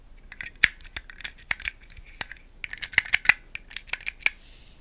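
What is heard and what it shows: Long acrylic nails tap and click on a small hand-held solid plastic puzzle cube with green tiles, held close to the mic. An irregular series of sharp, dry, bright clicks and taps comes in quick bursts, each stopping almost instantly with no ring.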